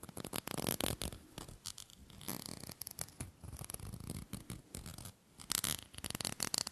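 Fingernails tap and scratch the lid of a small, round, hollow, silver aluminium screw-top tin held in the hands. Quick, dry, bright clicks and scratchy rasps come in dense bursts with brief pauses between them, and there is almost no ring after each touch.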